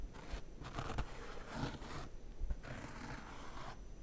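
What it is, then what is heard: Faux leather chair backrest, tapped and scratched. Long red-painted nails tap and scratch across the raised embroidered AutoFull logo and the smooth faux leatherette around it on the back of a white padded gaming chair. Quiet, dry scratching comes in bursts, with a couple of soft low taps standing out.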